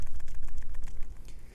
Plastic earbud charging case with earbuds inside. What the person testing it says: These are not going anywhere. Yeah, these are fine.